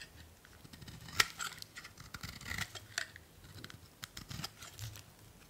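A thinning solid blue soap bar is shaved with a metal utility blade in repeated strokes, with long curls falling onto a pile. Soft, bright scraping and crisp cuts sound over a quiet background, with one sharper click near the start.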